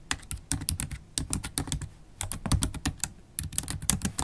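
Long, pointed black holographic acrylic nails type continuously on a MacBook Pro keyboard with black plastic keycaps set in an aluminium body. The result is a rapid, uneven stream of short clicky taps, each with a bright clatter over a soft low thud, dying away almost instantly between keystrokes.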